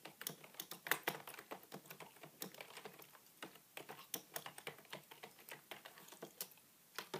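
A beige full-size plastic desktop keyboard with a hollow body, resting on a wooden table, is typed continuously with the fingertips and short nails of both hands. Rapid, bright, clicky key taps tumble over one another in an uneven rhythm, each dying out almost at once with very little low end. The flow briefly thins out before picking back up toward the end.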